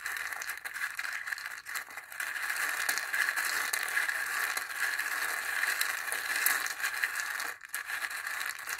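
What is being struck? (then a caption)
Dried gourd bowl with dry chickpeas and wooden stick. A wooden stick stirs and scrapes a few dry chickpeas around inside a small hollow dried-gourd bowl with a zigzag rim. It makes a steady, dense rattling and scratching texture, crisp and bright with no low end, with short lulls near 1.7 and 7.6 seconds.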